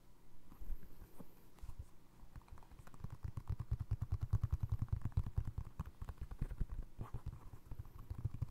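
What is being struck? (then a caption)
Foam resin clog. A single navy blue Crocs clog of soft foam resin, a hollow shoe shape with ventilation holes, is held in one hand while fingertips and short nails tap and scratch its upper. Dull, low, muffled taps come in irregular quick runs, with faint scratchy brushing between them.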